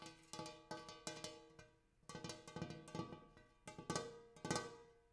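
A large, shallow, empty, gold-colored hammered brass bowl resting on a floor is tapped and scratched inside its basin with fingertips and nails. The result is a run of quick, bright metallic taps, each ringing with layered overtones and a steady tone near 480 Hz that fades within a fraction of a second, mixed with faint scratching.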